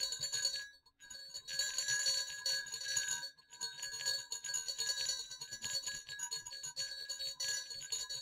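Two small hollow silver metal jingle bells on a cord over dark fabric are shaken and knocked together, producing a dense, bright jingling with sharp metallic clicks and high ringing tones that fade quickly. The jingling runs in bursts with brief pauses near one second and around three and a half seconds.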